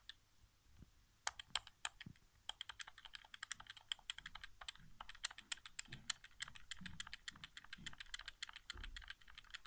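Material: Plastic.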